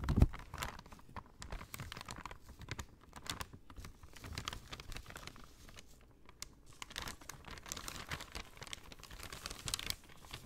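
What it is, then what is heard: Paper shopping bag. A folded brown kraft paper shopping bag is scratched and crinkled by long nails. The result is a steady stream of quiet, dense crackling and scratching taps across the whole clip, with soft low thumps underneath and brighter crinkle bursts toward the end.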